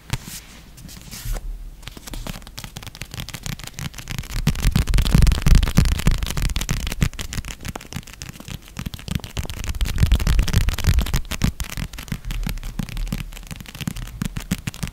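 A red paperback novel, a solid paper block with a glossy cover, is held upright in the hands and tapped and scratched with long red-painted nails. Rapid, uneven taps land in dense bursts with crackling scratches between them, giving a muffled, low, thudding sound that builds in the middle and again near the end.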